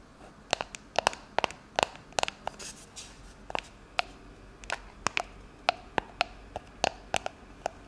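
Long acrylic nails tap and scratch along the printed label of a shaving foam can with a clear plastic cap, a hollow pressurized aerosol can (likely metal) lying on its side on a stone-like countertop. About two dozen short, dry, bright clicks ring around 770 Hz over a faint hiss. Each tap dies away almost instantly.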